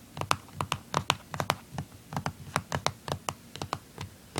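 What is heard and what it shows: Fingernails tap and scratch the back casing on the underside of a blue plastic handheld game console, which has screws and a sticker. About twenty quick, dry clicks come in an uneven run, each sharp and short with a bright, hollow plastic tick and a faint low knock beneath. Between the taps there is a soft scratching rasp.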